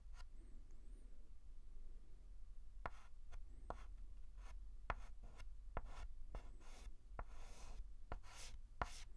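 A white chalk stick is scratched and rubbed across a large flat blackboard while writing a letter. It makes a series of sharp, dry taps and short gritty scrapes over a quiet, low steady hum.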